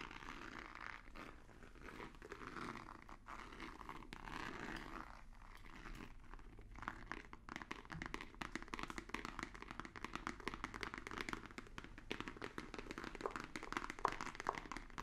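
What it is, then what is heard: Cardboard box. A long, white, rigid, hollow cardboard box held in both hands is tapped with fingertips and nails. Soft, papery scratching and rustling in the first half gives way to a dense run of quick, dry, clicky taps with a hollow midrange body and bright edges. Each tap dies away almost instantly.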